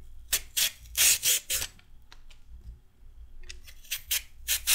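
A raw carrot is shaved with a red-handled metal peeler, with ribbons of carrot falling away. Quick, bright scraping strokes come in a burst, pause for a couple of seconds with faint small sounds, then resume with another run of strokes.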